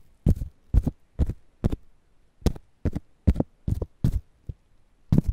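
A whole fresh corn ear in its green husk, held between foam microphones, is scratched and rubbed by fingertips. The result is a series of short, dry scratching bursts, each with a low thump and a bright papery hiss, separated by near-silent gaps.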